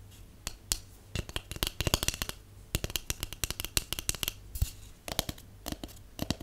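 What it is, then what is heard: Cardboard tube tapped with fingernails. A hollow white cardboard tube, held upright and then sideways, is tapped with long painted nails in quick, irregular bursts of about thirty taps. Each tap is a short, dry, crisp click with a hollow knock beneath it, dying away almost instantly over a faint steady low hum.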